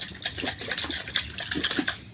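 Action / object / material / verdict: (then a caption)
shake / sealed plastic container of water / water / none. A sealed container holding water and pink and blue glitter is shaken so a child can hear the sound it makes. The liquid sloshes and swishes inside in a quick series of bright, splashy pulses with little low end.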